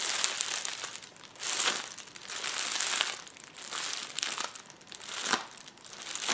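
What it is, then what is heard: Plastic bubble wrap roll. Fingertips and nails press, rub and scratch the bubbles of a hollow roll of clear plastic bubble wrap resting on a table. The result is a dense, bright crinkling and crackling in slow swelling waves, with almost no low end and quick small ticks layered throughout.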